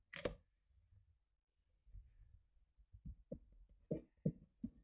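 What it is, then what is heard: Cardboard box. Long painted fingernails rub and scratch along the dark packing-tape seam of a large, closed, hollow cardboard shipping box, and scissors are briefly used on the tape. A sharp, bright scrape opens the clip, followed by soft, low rubbing and then a run of short, hollow, boomy taps with quick decay.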